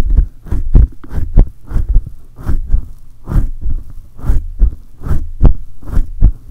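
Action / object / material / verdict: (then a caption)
scrape / metal mesh microphone grille / metal mesh / none. Both hands grip a silver condenser microphone with a hollow metal mesh head and rub it rapidly with fingertips and palms. The result is a rapid series of deep, booming thumps, each with a brief scratchy brush layered on top.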